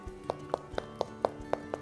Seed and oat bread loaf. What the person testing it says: it's kind of hollow sounding